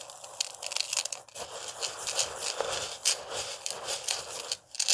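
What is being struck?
Dry rice grains in a plastic food container.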